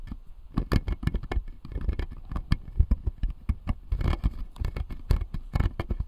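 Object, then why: Acrylic and plastic dental model. Fingertips and nails tap and scratch the plastic molars on the lower jaw of a clear acrylic dental model. Quick, dry clicking taps come in uneven bursts with soft scratching between them, and each tap has a dull low thump that dies away almost at once.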